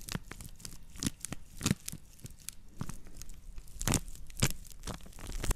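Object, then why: Woven straw plate. A woven natural-fiber straw plate is scratched with long nails, then turned so its hollow side faces close to the mics. The result is a run of dry, crackly scratching bursts with sharp bright edges and a low hollow body, each one stopping almost at once.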